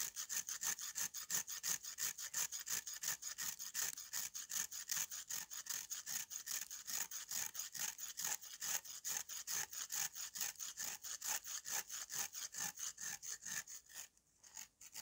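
A steel knife with a green handle scrapes quickly and repeatedly across the rough, crumbly surface of a large, flat, solid slab of dried red clay held upright by hand. The strokes make a bright, gritty rasping sound in a steady rhythm of many short strokes. The scraping briefly stops near the end, then starts again.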